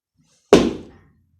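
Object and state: Wooden floor not yet fixed, still vibrating.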